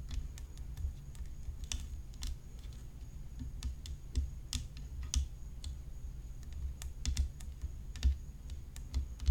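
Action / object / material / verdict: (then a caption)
tap / graphite composite tennis racket / graphite composite / none. Long fingernails tap the hollow composite rim of a graphite composite tennis racket whose head is decorated with rhinestones. The result is a steady, irregular run of quick, dry, bright clicks that die away almost at once, over a constant low hum.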